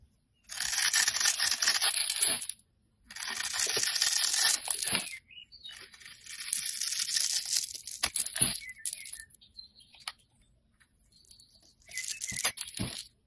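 A metal blade scrapes and cuts a grid pattern into a solid oval blue Dove soap bar held in the hand, shedding small cube flakes. Bright, dry, crackly scraping comes in several sustained passes, each separated by a brief pause, with faint ticks as the pieces break away.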